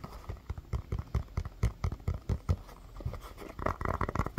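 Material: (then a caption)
Rubber. A small, hollow orange rubber mini basketball is tapped and scratched with fingernails and fingertips. A quick, uneven series of dull, low, hollow thumps with almost no ring mixes with soft scratchy brushing against the rubber.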